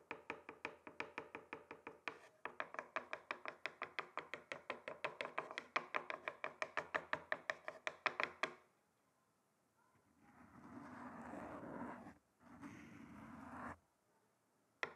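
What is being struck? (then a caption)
Wooden chopping board tapped with thin sticks. Two thin wooden sticks tap rapidly at different spots on a flat, solid, rectangular wooden chopping board, making a quick run of short, dry, woody clicks for about eight and a half seconds. After a pause, two bursts of steady, rough rushing noise follow, and a single faint click ends the clip.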